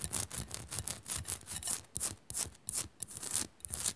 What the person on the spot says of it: Fast Scratching On A Salt Lamp